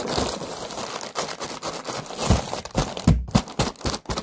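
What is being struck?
Paper lantern on a wire frame.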